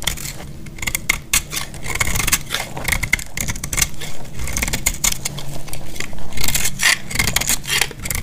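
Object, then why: Bar soap cut with a metal blade. A solid, dry green bar of soap held in the hand is cut with a metal utility-knife blade, with crisp flakes falling away. A rapid run of dry, bright scraping crackles and short cutting bursts rises and falls over a steady low rumble.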